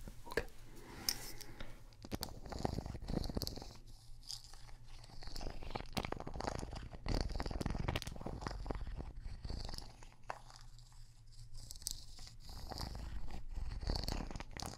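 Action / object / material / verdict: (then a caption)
scrape / wooden log slice coaster / wood / none. A small, solid, round cross-cut wooden log slice coaster with visible growth rings is held in one hand while the fingertips and nails of the other hand scratch and tap its face. The result is dense, close-up crackling scratches and quick dry taps over a low, rumbling body, with bright hissy bursts as the nails drag across the wood.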